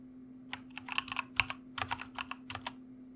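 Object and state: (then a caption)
Plastic mechanical keyboard. Fingertips of both hands type on a white mechanical computer keyboard with plastic keycaps and red backlight. About 13 short, bright, clacky keystrokes land in an irregular rhythm, each dying away almost instantly. A faint steady low hum sits underneath throughout.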